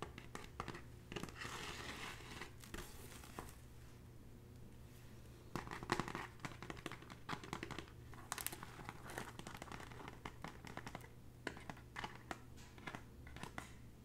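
Long natural nails scratch along the braided straw of a hollow red woven straw bag, up close. The result is a dense run of crackly, crinkling scrapes with short bursts that never stop.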